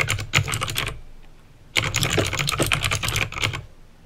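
Fingertips type on a backlit plastic mechanical keyboard with clicky green switches, giving bright, sharp clicks over a low thock. A burst of keystrokes is followed by a pause of about three quarters of a second, then a longer run of typing that tapers off.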